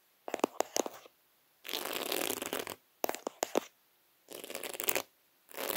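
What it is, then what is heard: Beaded placemat. Fingertips with short nails tap and scratch across a round, flat, thin placemat covered in small reddish-copper beads laid in concentric rings. Clusters of sharp, bright clicks alternate with longer stretches of dense, hissy scratching.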